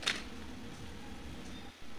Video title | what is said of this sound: Petha recipe - आगरा का पेठा रेसिपी - Easy & perfect petha | आप सुन सकते हैं कितना कड़क है बाहर से और अंदर से उतना ही जूसी है